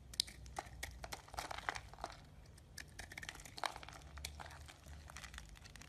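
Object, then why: Bar of soap scraped with a small knife. A small yellow-handled knife scrapes a solid lime-green bar of soap held in the palm, producing shavings. Dry, crinkly scraping and crunching strokes repeat irregularly, with sharp bright clicks over a low steady hum.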